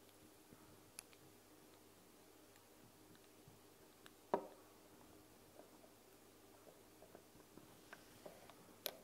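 Long blue nails tap and click on the top of a white plastic dropper cap with a clear bulb, fitted on a small amber glass bottle standing on a wooden table. Sparse, quiet, short clicks sound over a soft, steady background hum, with the sharpest, loudest tap near the middle and a few brighter clicks toward the end.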